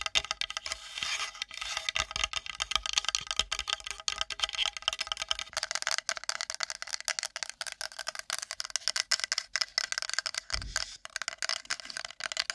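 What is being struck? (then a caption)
Wooden plate. A wooden plate is tapped and scratched quickly with long nails. Rapid, dry clicks and scratchy rasps run continuously for the whole clip. The sound is bright and crisp, with almost no low end and each tap dying away almost instantly.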